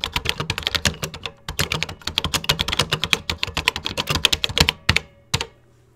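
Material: Plastic.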